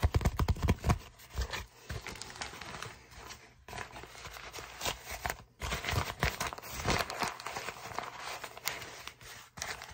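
An empty brown kraft paper mailer bag with a tear strip is twisted and crinkled with fingertips. Dense, crackly paper crinkling runs throughout, loudest in bursts at the start, with brief quiet gaps near 3.6 and 5.5 seconds.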